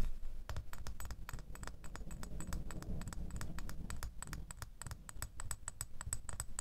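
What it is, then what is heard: Metal door key. A small, solid metal door key is held and then laid in a palm while fingernails scratch and tap it. Quick, bright clicks repeat in a dense, uneven run over a steady low rumble, each tick dying away almost at once.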